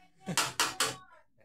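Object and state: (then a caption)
Brittle plastic part. A plastic part taken from a dismantled washing machine is knocked three times, giving sharp, bright, clinking taps that fade quickly. The crisp clink marks it as the brittle kind of plastic.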